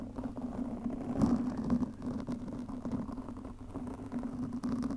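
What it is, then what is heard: Foam microphone windscreen being scratched. Long nails on both hands scratch a black foam windscreen fitted over a microphone. The result is a dense, muffled, continuous scratching rustle concentrated in the low and middle range, with a steady low tone running underneath. The scratching swells louder around the one-to-two-second mark.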